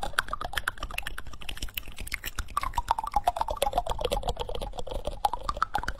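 Fingertips and short nails rapidly tap and scratch the back of a solid, reddish-brown wooden spoon bowl held close to the microphone. The result is a dense, uneven patter of dry, clicky taps, like typing, with scratchy bright edges and a faint hollow tone around 1.4 kHz that shifts as the bowl is struck.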